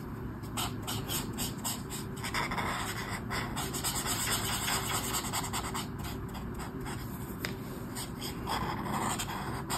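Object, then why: Brush marker on a paper colouring book page. A brush marker rubs repeated strokes along the edge of a mandala on a flat sheet of white paper in a colouring book. The strokes come as a fairly steady run of soft, scratchy swishes with bright hiss over a constant low hum, at a quiet, even level throughout.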